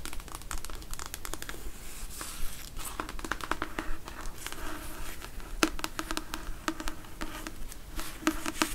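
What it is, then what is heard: Paperback book. Long acrylic nails tap and scratch the glossy card cover and paper page edges of a thick, solid paperback novel, Red Dwarf, held in the hand. Rapid, dry clicks and crinkly scratching run throughout, with sharp taps that cut off almost instantly over a soft, papery rustle.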